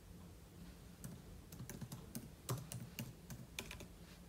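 Fingertips type on the plastic keys of a silver aluminum laptop, with an open book lying untouched beside it. About thirteen quiet, short clicks and taps come in a loose, uneven rhythm, each with a bright tick and a soft low thump. The clicks die away quickly over a faint low background hum.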